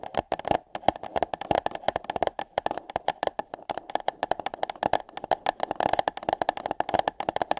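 Fingertips and long yellow nails tap and scratch the sides of empty light-blue paper cups held over binaural microphone ears. A rapid, uneven stream of short, dry, hollow taps with a papery tone around 730 Hz, mixed with bright scratching.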